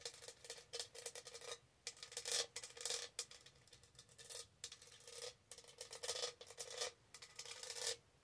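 Long nails scratch and rub over the raised studs of a tall, hollow pink textured plastic tumbler held tilted. The sound is a bright, dry, crackly scraping that comes in repeated bursts with brief pauses between them. A faint hollow tone sits beneath the hiss, and there is almost no low end.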